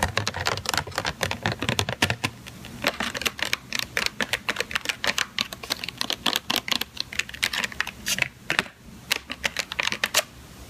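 Long teal-painted nails tap and scratch the lid and sides of a hollow, thin, clear plastic clamshell container, about palm-to-hand size, full of strawberries and resting on a white cutting board. Quick, bright, dry plastic clicks come in a rapid, uneven stream with brief scratchy passages, each tap dying away almost instantly.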